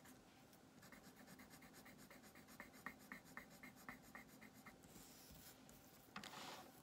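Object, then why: Colored pencil on a thin paper sheet over a wooden table. A colored pencil rubs and scratches back and forth across a thin printed paper coloring page lying flat on a wooden table, coloring an armchair green while the other hand holds the sheet still. Quiet, rapid, fairly regular scratchy strokes carry a bright papery rasp, ending in a louder, brighter scrape near the end.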